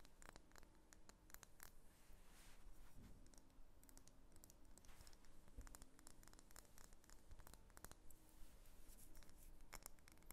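A medium solid pink wax pillar candle is held in the hands and turned over while long nails tap and scratch its wax surface. The quiet clip is full of rapid, dry clicks and scratchy strokes over a steady low rumble of handling.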